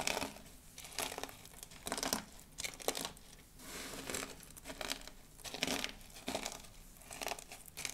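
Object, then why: Pile of dried soap flakes. Fingertips with long blue almond-shaped nails press into and rake through a large heap of small, thin, brittle pink and white dried soap flakes on a dark table. Bright, crackling crunches come in repeated bursts with quiet gaps between them as the flakes are crushed.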